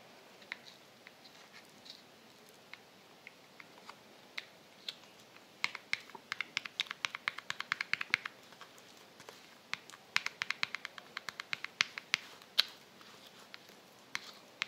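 Long nails tap on the light-blue metal rim of a small, round Balea tin held in the hand, open and full of white cream with foil. Quiet, bright, dry clicks come sparsely at first, then in quick irregular bursts, each dying away almost instantly with no low-end body.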